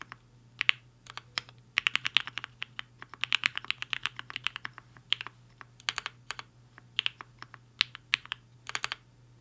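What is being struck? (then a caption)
Mechanical keyboard with plastic keycaps. Fingertips of both hands type fast on a compact mechanical keyboard with a black case and white and pink plastic keycaps, resting on a desk mat. Quick, bright, sharp clacks come in uneven bursts with brief pauses, each keystroke dying away almost instantly. A faint steady low hum sits underneath.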